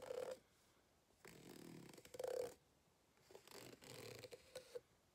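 A white plastic fork, held in a hand with long red nails, scratches across the ribbed surface of an empty green rubber hot water bottle lying flat on a table. Short bursts of raspy, buzzing scratching carry a humming tone just under 500 Hz, separated by quiet pauses and ending with a few quick flicks.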